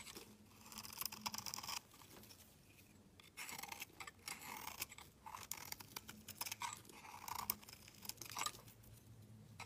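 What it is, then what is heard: Soap bar being shaved. A solid white bar of soap with a green-edged rim, held in hand, is shaved with a metal utility knife blade into flaky shavings. Quiet, bright, crisp scraping and crunching comes in bursts of rapid strokes, broken by brief pauses and a longer lull near the start.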